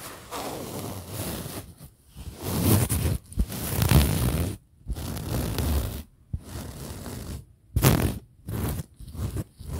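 A printed fabric pillow is scratched and rubbed by the fingertips and nails of one hand. It gives dry, muffled scratching and rustling in bursts of varying length, separated by short silent pauses.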